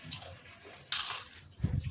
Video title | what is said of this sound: পাপড় পিঠা রেসিপি | পিঠাগুলোর শব্দ শুনেই বুঝতে পারছেন বন্ধুরা পিঠাগুলো কত মচমচে হয়েছে